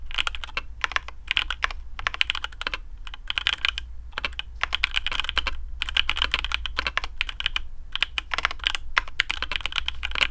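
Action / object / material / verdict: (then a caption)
tap / mechanical keyboard with plastic keycaps / plastic / none. Fingertips of both hands type steadily on a black custom AARU mechanical keyboard with TTC Speed Silver switches, PBT plastic keycaps and a carbon fibre plate in a hollow case. The result is a fast stream of short, dry clicks and clacks, bright and centred around 2 kHz, over a faint low hum.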